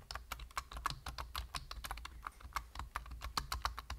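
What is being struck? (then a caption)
Plastic computer keyboard. Fingertips of both hands type rapidly on a full-size black plastic computer keyboard with a hollow body and plastic keys. About two dozen quick, dry clicks land in a steady stream, each centered near 1.2 kHz with bright edges. A low, constant rumble sits underneath.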